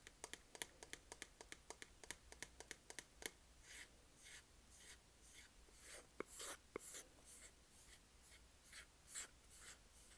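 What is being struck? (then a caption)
Small plastic makeup compact. A small, hollow, round black plastic makeup compact, a baking powder jar, is held up and tapped on its lid with long acrylic nails. A quick run of sharp, bright clicks fills the first few seconds, then turns into softer scratching and brushing strokes with a hissy high edge. Two more crisp taps stand out along the way.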